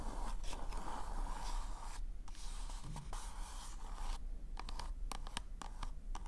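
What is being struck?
Glossy paper cone party hat.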